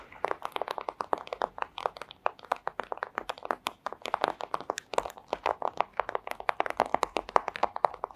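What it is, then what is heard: Thin plastic sleeve tapped with nails. Long acrylic nails tap quickly on a flat, thin, clear plastic pouch, making a rapid run of about 55 dry, crisp clicks. The taps are crinkly and centered around 1 kHz, with bright edges, no low end, and no ring after each hit.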